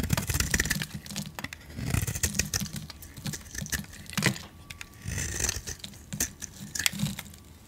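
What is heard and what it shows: A hand-sized solid green bar of soap with a gold outer layer is held in one hand and scraped and carved into flakes with a metal utility blade. Dry, crunchy scraping strokes with sharp, bright ticks come in uneven bursts over a low rumbling undertone.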